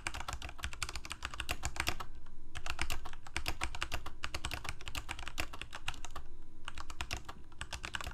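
Both hands type rapidly with their fingertips on a full-size black plastic Corsair K68 mechanical keyboard with Cherry MX Red switches and blue backlit keycaps, resting on a white desk. The result is a quick, uneven stream of short clacks with a deep, thumpy body and bright key ticks on top. Brief lulls occur around two and six seconds.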